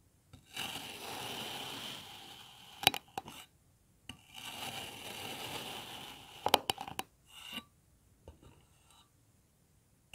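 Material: Kinetic sand.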